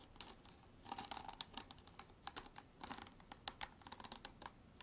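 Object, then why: Hard plastic bottle. Long artificial nails tap and scratch a hard plastic bottle for ASMR, making a quiet, rapid, irregular run of dry, clicky taps. Each tap is short and bright with almost no ring, and a faint scratchy hiss runs between them.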